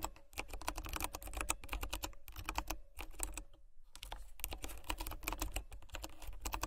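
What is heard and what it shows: A compact, hollow-sounding Royal Kludge RK84 mechanical keyboard with white plastic keycaps and brown switches is typed on quickly with fingertips and long nails. Dense streams of short, bright plastic clacks and taps run over a low thud, with a brief lull partway through before the typing picks up again.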